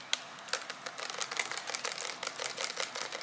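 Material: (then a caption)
Plastic. A small, transparent green plastic bottle with a pump or cap and a printed label, filled with green liquid, is held in both hands and tapped with long fingernails. The result is a rapid, irregular series of short, dry, bright clicks and taps that die away almost instantly, with no low-end body.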